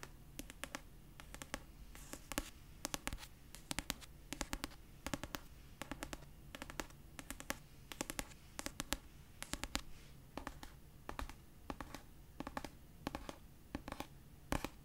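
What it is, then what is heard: Paperback book cover. Long purple nails tap and scratch the paper cover of a solid pastel paperback of "Red, White & Royal Blue." The result is quick, dry, bright clicks that stop instantly, in irregular bursts over a quiet, steady low hum throughout.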